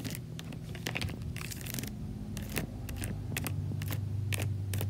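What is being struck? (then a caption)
Plastic laundry basket. Long nails and fingertips tap and scratch the bars of a large white slotted plastic laundry basket full of clothes. Quick, irregular bright clicks and short scratchy rasps sound over a steady low hum, each one dying away almost at once.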